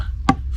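A plastic caravan waste pipe fitting, resting on something firm, is tapped once, giving a single short, dull knock over a low steady hum. The knock's sound shows the fitting is fully pushed home on the pipe.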